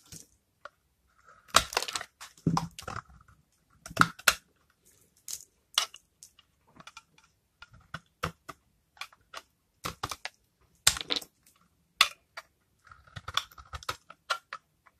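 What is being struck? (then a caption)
Bar of soap scraped with a knife blade. A utility knife blade scrapes dry, flaky shavings off a hand-held, palm-sized oval bar of old, hardened, rancid lilac soap with a brown rind. The result is repeated short, crisp, bright crunching scrapes with near silence between them, some coming in quick clusters.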